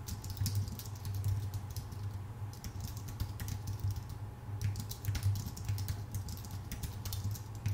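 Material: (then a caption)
Plastic, aluminium. Steady fingertip typing with both hands on a full-size white Apple Magic Keyboard with numpad, thin aluminium base and plastic keycaps, resting on a dark desk. Rapid, soft key taps blend into a continuous patter, each click bright and brief over a low hum near 98 Hz.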